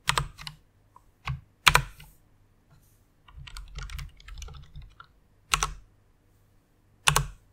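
Single keys on a white plastic rainbow mechanical keyboard are pressed with long-nailed fingers, giving sharp, bright clacks with a low thud underneath. The presses come slowly and unevenly, with a quicker run of lighter keystrokes in the middle, and each one dies away almost at once.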